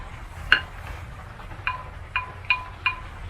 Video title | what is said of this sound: Broken Branch Pottery Unboxing | it does have a little ting